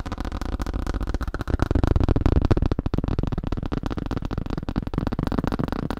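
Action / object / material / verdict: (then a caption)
tap / thin plastic sheet / plastic / none. Fingers tap rapidly on a thin plastic sheet, making a steady stream of short, dull, low-heavy clicks. Each tap dies away almost at once with no ring.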